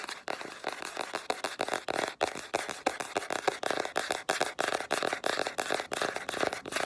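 Long black-polished nails rapidly tap and scratch the flat grey cardboard cover of a spiral sketchbook held upright. The result is a fast, irregular stream of short, dry, papery taps with a scratchy, bright hiss and almost no low end. Each tap dies away almost instantly.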